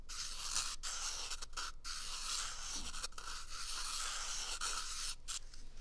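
A small, empty, hollow brown cardboard toilet paper tube is held close to the microphone and scratched and tapped with fingertips. The result is a steady, dry, bright scratching texture broken by brief pauses, with soft low thumps underneath.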